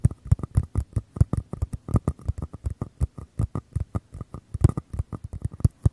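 Fingertips and nails tap and scratch the sides of two identical small, empty, hollow white paper cups held beside the mic capsules of a Tascam recorder. About 38 quick, dull, hollow thumps come in an uneven pattering rhythm, each one low and very short with no ring.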